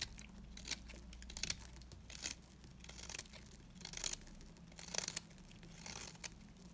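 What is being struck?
Bar of soap shaved with a metal blade.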